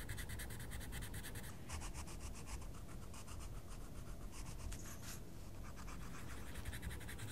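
A wooden coloured pencil scratches repeatedly across a mandala page in a small paper colouring book. The result is a steady run of quick, rhythmic scratchy strokes with bright, papery hiss over a constant low rumble.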